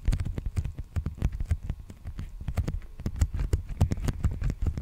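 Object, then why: Padded plastic bubble mailer. An empty, large black padded plastic bubble mailer with a creased surface is held upright and tapped and scratched with the fingertips. A rapid, uneven series of dull, low, muffled taps sounds, each dying away almost instantly, with faint crinkly scratching between them.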